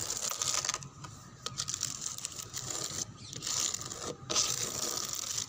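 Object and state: Wooden door scratched with fingernails.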